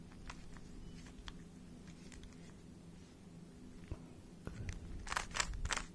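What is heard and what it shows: A small hollow plastic 3x3 speed cube is held close to the mic while fingertips turn its layers. Soft scraping and scattered clicks sit over a low steady hum, building to a louder flurry of bright, sharp clicks near the end.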